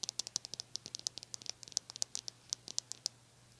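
Long nails scratch and strum the stiff white plastic bristles of a small brush with a blue handle, producing about 22 quick, dry, high-pitched ticks over 3.6 seconds. The clicks are crisp with no ring, set against a faint steady low hum.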